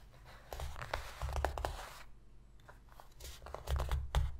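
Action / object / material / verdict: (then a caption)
scrape / cardboard box lid / cardboard / none. Long pink fingernails on both hands scratch quickly across the inner bottom of a shallow, empty white cardboard box lid. The result is a dry, scraping rasp broken into clusters of fast, sharp strokes, with a brief quieter pause in the middle and a low thud underneath.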